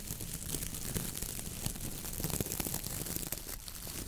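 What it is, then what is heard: Coconut fiber brush scratched. A coconut fiber dish brush with a round head of stiff brown coir bristles on a wooden handle is scratched and rubbed by long nails and fingertips. It gives a steady, dense crackling and crinkling rasp, bright and scratchy, with quick sharp ticks throughout and a low rumble underneath.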